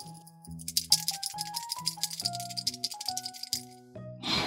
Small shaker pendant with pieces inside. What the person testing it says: you can shake it and they move